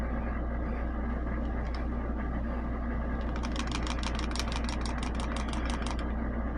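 A new 1911 pistol is shaken in a rattle test, and its steel slide rattles against the frame. About halfway through, a quick run of sharp metallic clicks starts and lasts nearly three seconds over a steady low hum.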